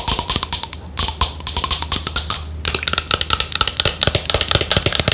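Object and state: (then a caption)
Plastic skincare bottle. Long nails tap and scratch the body of a pale green plastic lotion bottle with a white cap, held in the hand. The sound is a quick run of bright, crisp plastic clicks mixed with high scratching, with a faint low hum underneath. Each tap dies away almost at once.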